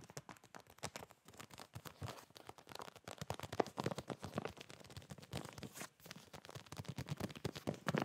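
A hand-sized clear plastic zip-lock retail bag with a hanger tab, full of folded fabric boxer shorts, is held in both hands and tapped and squeezed with fingertips and short nails. Rapid, dry taps and crisp crinkling of the plastic run throughout, with a soft, muffled low body from the fabric inside and brief pauses between bursts.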